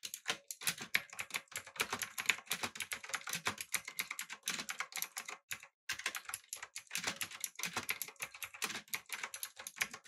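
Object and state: Mechanical keyboard with clicky switches.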